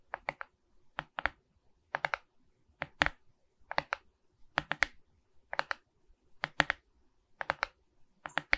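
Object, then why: Resin beads on a wooden-backed canvas board. Long red nails tap and scratch across the resin-bead surface of a framed diamond painting on a wooden canvas board, held upright. Bright, dry clicks come in quick clusters of two to four, with very short decay and little low end.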